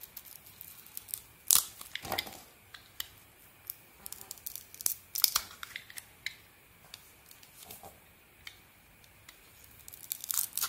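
A small metal blade scrapes and shaves strips of red coating off a solid, palm-sized bar of soap with a cream-coloured inside, held in one hand. Dry, bright scraping and crisp crackling sounds come in short bursts separated by quiet gaps, with little low-end body.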